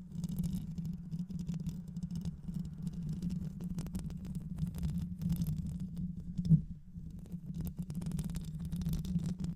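Long nails scratch continuously across the mesh grille of a black hollow microphone, likely metal, producing a dense, muffled, low rumbling scrape. The sound stays steady throughout, with faint bright crackles over it and one louder bump near the middle.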